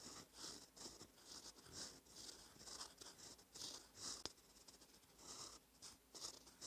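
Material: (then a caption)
Paper. A gold metal fountain pen nib, held by the fingertips, scratches across a thin cream lined notebook page while writing cursive. The sound is a quiet, bright, papery scratching in short irregular strokes, with one sharp tick partway through.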